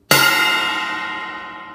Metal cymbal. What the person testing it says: you can hear it's got a great ringing effect